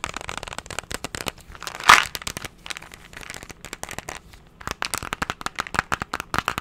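A hollow, hand-sized cylindrical plastic candy tub with a label is tapped and scratched rapidly with fingernails. Quick, crisp clicking taps come in a dense run, with one louder crackling burst near the two-second mark. A softer scratching stretch follows before the fast tapping returns.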